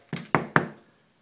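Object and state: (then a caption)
Paneled wall with a bee colony inside. Three knocks on an interior paneled drywall wall that has a bee colony inside the wall cavity. Each is a short, dull thud that fades within about a quarter second. The knocks are meant to stir the bees so their buzzing can be heard, but none comes through in this clip.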